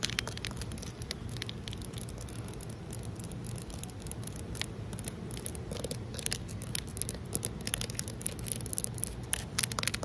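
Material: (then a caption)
Concrete. Long nails tap rapidly on a large, solid outdoor concrete ledge, making a dense run of sharp, dry clicks with almost no ring. The taps sit over a steady low background rumble and grow slightly louder toward the end.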